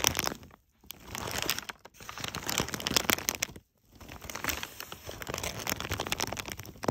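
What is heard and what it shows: Fingertips with short, light nails brush and scratch across the folds of a pile of crumpled brown kraft packing paper strips. The result is dense, bright crinkling and crackling in several bursts, separated by brief silent pauses.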